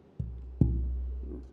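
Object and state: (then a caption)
Resonant spruce tonewood. A large Sitka spruce tonewood board is tapped twice, each knock giving a low, resonant thump followed by a sustained low hum that slowly fades. The wood rings well, a sign it should make a loud, good-sounding guitar.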